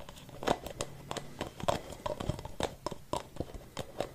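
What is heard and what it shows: A hollow white plastic spray-can cap, held alone in the hand, is tapped and scratched on its outer surface with fingertips and nails. The result is a series of quick, hollow plastic clicks and scratchy rasps with a light tonal ring near 700 Hz. Each sound dies away almost instantly.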